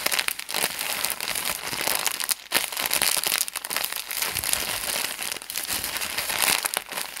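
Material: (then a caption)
Plastic. A small, white, thin plastic package is held in both hands while fingers squeeze and crinkle it. A dense, continuous stream of bright, crisp crackles fills the clip, almost entirely in the high range with nearly no low end. The crinkling briefly drops away around the two-and-a-half-second mark before resuming at a steady level.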